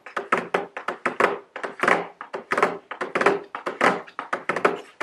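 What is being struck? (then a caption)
Cardboard box with plastic window. Very long blue nails tap a medium square white cardboard nail polish gift box, held upright, with a round plastic window showing the bottles inside. About 25 quick, dry taps come in an uneven rhythm, each a short hollow thunk with a papery midrange tone around 400 Hz and a bright edge. Each tap fades almost at once, with no low end.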